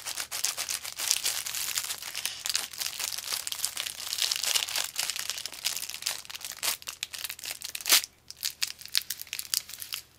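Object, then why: Paper chopstick sleeve. Fingers crinkle and tear a thin, long, narrow, hollow blue and white paper sleeve while sliding disposable chopsticks out of it. The result is dense, bright, high crinkling and ripping with quick crackles. A sharp, louder tear comes near the end before the sound thins to sparse, quieter crinkles.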